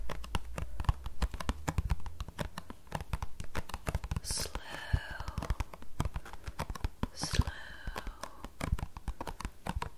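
Long painted nails and fingertips rapidly tap and scratch the flat face of a small, closed, green printed paperboard tea box that is hollow, holds tea bags, and is held in both hands. The result is a dense stream of short, dry clicks over a low, hollow drumming thump. Two brief, brighter scratching swipes stand out partway through.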